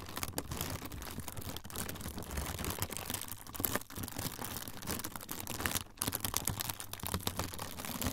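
A thin, flexible, semi-translucent frosted plastic sheet is crinkled and folded by the fingertips of both hands. The result is a dense, continuous crackle of sharp crinkles and crunches with bright, high edges and a low rumble underneath, with brief dips in loudness around the fourth and sixth seconds.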